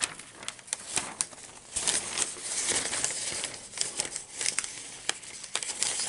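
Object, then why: Newsprint newspaper pages. Hands sweep across and turn the pages of an open newspaper spread of thin newsprint, then hold a folded page up. The result is a run of bright, dry crinkling and rustling with sharp little crackles and almost no low end.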